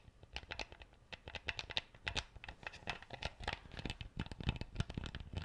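Fingertips and nails scratch and twist a plastic screw cap on an empty clear PET bottle. The result is a quiet, close, continuous run of rapid dry clicks and crackly scratches, with a low thud under each contact and a bright, brittle edge on top.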